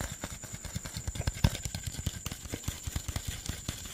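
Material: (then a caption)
Plastic. Fingernails scratch and tap the label and body of a hollow green PET Sprite soda bottle, producing a quick run of short, dull, hollow taps with a low thump. Light crinkling and scratching run between the taps, over a faint steady high whine.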